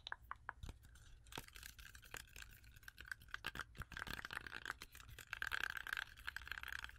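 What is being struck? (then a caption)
Whole fresh apple. Long acrylic nails tap quickly on a whole, solid, fresh red-yellow apple with a sticker on it. The result is a quiet run of short, dry clicks and light scratchy taps, with a faint steady tone around 1.5 kHz underneath.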